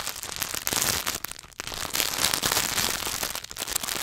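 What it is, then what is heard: Wrapped chocolate bar. A solid Hershey's milk chocolate bar in its paper and foil wrapper is held in both hands while fingertips tap and scratch fast on the wrapper. The result is a dense, bright crackle of quick crinkly taps and scrapes with almost no low end, briefly easing around the middle before picking back up.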